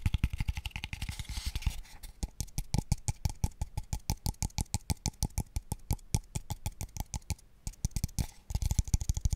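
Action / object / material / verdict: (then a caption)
tap / small wooden square tube box / wood / none. A small, hollow, open-ended, pale wooden square tube, empty and held above the mic, is tapped rapidly with fingertips. It gives quick, dry, hollow knocks with a deep boomy low end and almost no ring. The taps come in fast flurries at the start and end, with steadier evenly spaced taps in the middle.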